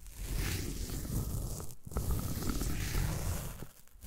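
A derma roller is rolled across the top of a solid green floral foam brick, scratching the foam. The result is a steady, low, rumbling scratch with faint crackles, broken by a brief pause partway through and tapering off at the end.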